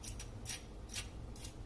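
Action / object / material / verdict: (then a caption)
scrape / roasted chicken skin / chicken skin / crispy. Freshly roasted lemon chicken, just out of the oven, is handled so its crispy skin crackles in short, bright bursts of crunch over a low background hum. The skin is as crisp as intended.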